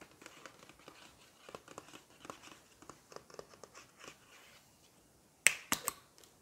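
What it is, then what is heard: Plastic shampoo bottle. Long nails tap and scratch a large, seemingly full turquoise plastic shampoo bottle with a gold plastic cap, working over both the body and the cap while a lollipop stick rests in the mouth, so faint mouth sounds may be present. For about five seconds soft, irregular, bright ticking and scratching continues, followed by a brief lull and then three sharp, louder clicks near the end.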